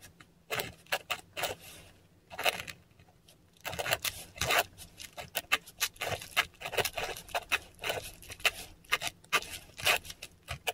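A metal dip pen nib scratches Cyrillic letters in ink across a flat, textured Korean paper sheet. Short, bright, scratchy strokes come in quick bursts, with a brief pause early on before the writing resumes steadily. The dry nib-on-paper rasps are crisp and close, with almost no low end.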